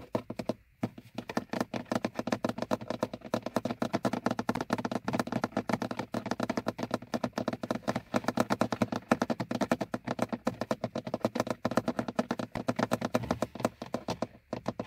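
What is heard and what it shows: Fingertips and painted nails of both hands tap rapidly on the top edge of the hard plastic hood over a car's instrument cluster, a large, fixed, hollow molded panel. The result is a dense, continuous patter of short, dry, hollow clicks with a mid-low knock and almost no ring.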